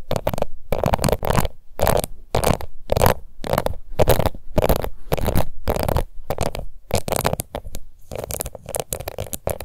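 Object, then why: Plastic face powder compact. A small round pink plastic face powder compact with an embossed lid is scratched and tapped with long nails. The result is a run of short, dense scratching bursts separated by brief pauses, with a close, rough texture weighted toward the low-mid range and little high sparkle.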